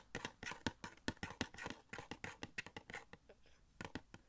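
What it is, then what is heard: Cardboard collectible box with plastic window. A small, hollow cardboard Funko Pop box for The Flash, with a clear plastic window and the figure inside, is held up and tapped and scratched with fingertips. It makes a quick, uneven run of dry, hollow taps with soft scratchy rustles between them, each tap dying out almost at once.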